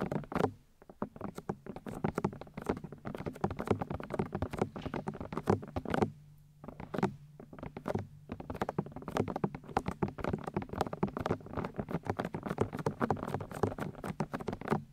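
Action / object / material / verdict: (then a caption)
tap / plastic microphone ear housings / plastic / none. Long nails tap quickly on the white plastic ear discs of a 3Dio binaural microphone's housings. Dense, rapid, dull taps and soft thunks carry mostly low, muffled weight with very little brightness, each dying out almost at once. Brief lulls near the six- and eight-second marks interrupt the steady patter.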